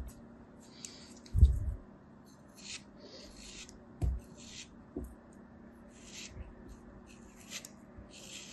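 A thin metal craft knife blade shaves and scrapes the edges of a small solid block of molded beige kinetic sand held in the fingers. The result is a series of soft, gritty scrapes with bright, hissy crumbling textures, punctuated by a few low, dull thumps, against a quiet background.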